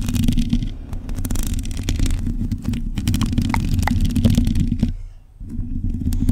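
Long nails on both hands scratch across a black metal mesh microphone grille. The result is a dense, rumbling low scratching with rapid clicky ticks, which briefly drops away near the five-second mark before resuming.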